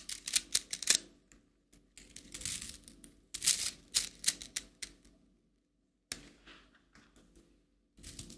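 A hollow, coiled plastic rainbow slinky is stretched and collapsed by hand, its coils clicking together in quick, bright, clattery bursts. The clicks come in uneven clusters separated by brief silences, with very short decay and almost no low end.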